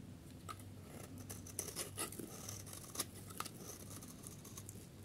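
A metal utility blade shaves the edge of a solid yellow bar of dry soap held in the hand, producing crumbly shavings. Quiet, dry scraping and crisp, bright crackles come in short bursts, with a few sharper scrapes standing out. A steady low hum runs underneath.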